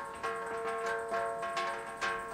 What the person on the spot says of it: звук такой как у бубна как у колокола